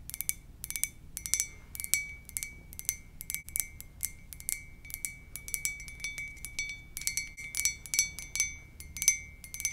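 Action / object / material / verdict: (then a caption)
tap / ceramic mug / ceramic / none. A white ceramic mug with black lettering, held on its side in both hands, is tapped rapidly with long purple nails. Quick, bright clicks and clinks sound in irregular bursts, each with a short ceramic ring near 2.2 kHz and high overtones that fade almost at once.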